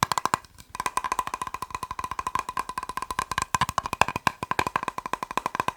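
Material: Plastic.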